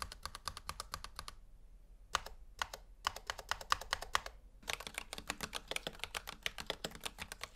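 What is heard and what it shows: A gloved fingertip presses keys, then both gloved hands type on a full-size black plastic Razer Huntsman V2 Analog mechanical gaming keyboard with a hollow housing, resting on a white table. Quick, bright, clicky keystrokes come in rapid runs, separated by short pauses and a few isolated presses. The clip ends in a steady burst of fast typing.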